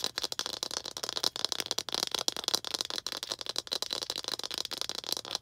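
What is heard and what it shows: Long green acrylic nails rapidly tap and scratch a small hollow red plastic ball held in both hands. The result is a dense stream of dry, bright clicks and rattly scrapes with almost no low end, each tap dying away instantly.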